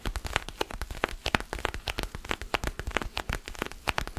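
Fingernails scratch and rub a small solid orange foam basketball stress ball held in one or both hands. The result is a dense run of short, dry, crackly scratches with quick bright clicks that die away almost instantly, like light rain pattering on a surface.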